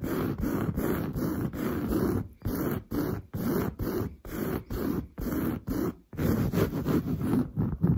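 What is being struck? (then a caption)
Woven fabric sofa upholstery. Long blue nails scratch fast and aggressively across grey-brown, textured, padded woven sofa fabric. The result is a coarse, rasping scuff heavy in the low range, coming in quick back-and-forth bursts with brief silent gaps. It ends in a denser, unbroken stretch of scratching.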